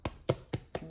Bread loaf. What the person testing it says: that lets you know that bread is completely done all the way through